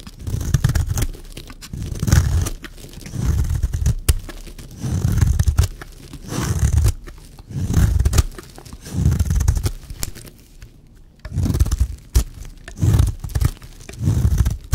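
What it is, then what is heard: Dry bar soap being scraped. A blade scrapes shavings off a solid, dry white bar of soap in repeated strokes. Each stroke is a low, muffled, crunchy scraping swell, broken up by occasional short, sharp clicks.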